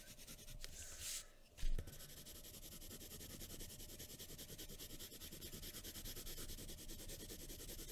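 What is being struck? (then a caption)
Pencil on drawing paper over a wooden table. A graphite pencil tip scratches and rubs over a thin sheet of white drawing paper resting on a wooden table while shading hair and eyes. The result is a steady, rapid run of dry, papery strokes with a gritty high hiss, broken early by a brief louder knock before the shading resumes at an even pace.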